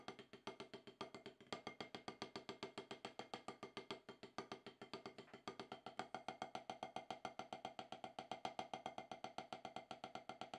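Two wooden drumsticks tap repeatedly on a solid, octagonal HQ rubber-top snare practice pad. The 79 short, dry knocks come at a quick, slightly uneven pace of about 222 per minute, each with a woody, mid-pitched tone around 750 Hz and almost no low end. Each knock dies away almost immediately.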